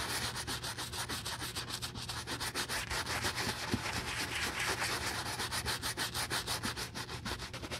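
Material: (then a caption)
Leather. A wooden-handled bristle brush vigorously scrubs the side of a hollow brown leather cowboy boot's vamp covered in soap lather. The result is a fast, steady series of wet, bright brushing strokes with a low hum underneath.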